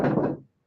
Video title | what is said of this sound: Sunday Night Live Trivia - Time To Lay To Rest EP#288 | as you can Hear Me Knocking on it but it's still there it's just in pieces right now